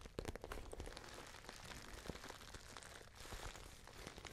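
Long nails scratch and tap a small, pale pink, glossy patent faux leather handbag. The result is a quiet, steady stream of crisp, crackly clicks and scratchy rustles over a soft, dull low thump, with each tap dying away almost instantly.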